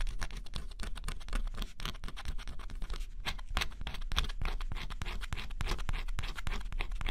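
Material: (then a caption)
Cardboard. A small stylus scratches the black coating off a flat, thin cardboard scratch-off jigsaw puzzle. Rapid, dense scratching strokes with bright, crisp edges run steadily over a constant low hum, each stroke dying away almost instantly.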